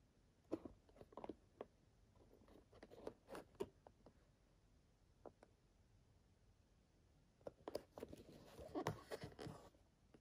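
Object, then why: Printed cardboard game box. A small, hollow, printed cardboard box for the Nintendo 64 game Perfect Dark (a signed copy) is held at both ends by the fingertips and turned to show its sides while the fingers rub and tap along its edges. Quiet, dry taps and soft scraping rustles come in scattered bursts, with a lull in the middle and a denser stretch of rubbing near the end.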